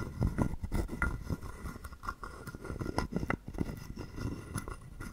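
A hollow carved wooden frog guiro, held in the palm, has a wooden stick scraped quickly along its ridged back and tapped. The result is a rapid run of short, dry, woody clicks and rasps with a low, hollow body and almost no ring.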